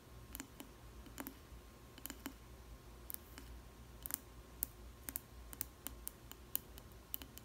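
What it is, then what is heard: Glass food container tapped with fingernails. Long nails tap the base and sides of a clear square glass food container with a plastic lid and bread inside. The sharp, bright clicks come in an irregular run with very short decay over a low steady hum, and some taps land in quick pairs.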